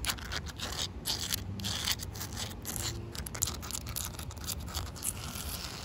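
Short white nails scratch and tap across a solid, wet outdoor concrete pavement with a joint. The result is a dense, gritty stream of bright scraping and crunchy clicks over a soft low rumble, with each tap dying away almost instantly.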